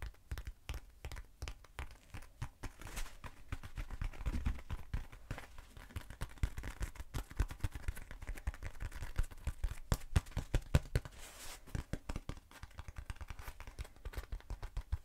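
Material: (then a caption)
Foam. Long nails tap and scratch a short, hollow black foam cylinder, making a dense run of quick, dry taps and scrapes. The sound is low and thuddy, mixed with brief crinkly scratching, and each hit dies away almost at once.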